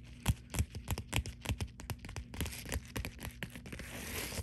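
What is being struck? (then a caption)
Plastic bubble mailer. Long dark nails scratch and press the bubbles of a white bubble-textured poly mailer, first lying flat and then held upright. The result is a quick, uneven run of crunchy, crinkly scratches and taps with a low thump under each. Toward the end it blends into a steadier, brighter scraping.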